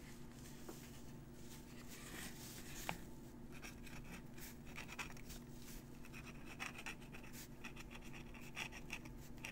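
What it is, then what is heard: Pen nib scratching on crumpled paper. A metal fountain pen nib scratches across a crumpled paper letter while writing. Quiet, continuous scratchy strokes with bright, papery rasps sit over a steady low hum, with a few slightly sharper nib scrapes standing out.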